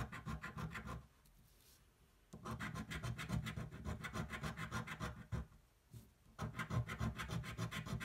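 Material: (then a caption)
Cardboard. A thin, flat cardboard scratch-off lottery ticket is held flat on a table with one hand and scratched with the edge of a metal coin, removing the latex coating. Quick, rhythmic back-and-forth raspy scraping comes in three bursts, separated by two brief quiet pauses.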